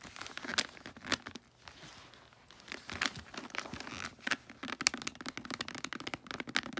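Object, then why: Foil wrapping paper on a gift box. A gift box wrapped in holographic tree-print foil paper is rubbed, crinkled and handled by fingertips and long nails. Dense, bright crinkling comes in quick bursts and sharp clicks, with a quieter stretch of soft rustling in the middle.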